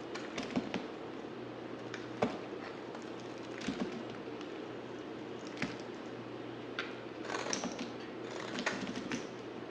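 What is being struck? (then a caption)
Solid bar soap cut with a knife. A hand-sized, solid pale grey bar of white soap is carved with a utility knife, each stroke peeling off flakes. Soft, crisp scraping cuts and small ticks recur irregularly over a faint, steady low hum.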